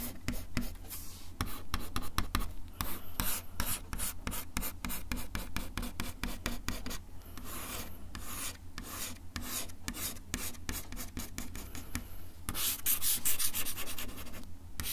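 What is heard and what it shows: A bamboo ear pick is dragged across a solid, flat brown wood-finish desk top in quick, irregular rasping scratch strokes. Each stroke gives a dry, bright scrape over a steady low hum, and a slower, quieter stretch in the middle leads into denser, brighter scratching near the end.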